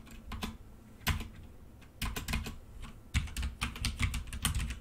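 Fingertips of both hands type steadily on a black plastic full-size mechanical computer keyboard with red keycaps resting on a desk. Quick bursts of bright plastic key clicks over low thuds come in uneven clusters with short pauses between them.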